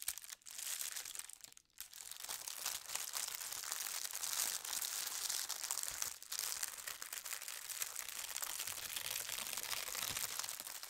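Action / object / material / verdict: scrape / thin tissue paper sheet / paper / none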